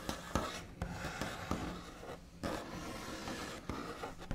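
The backs of fingernails scratch and trace across a large solid wooden tabletop with a smooth white finish, making a steady, dry rasping rub. Seven sharper taps punctuate the scratching, each one short with little ring.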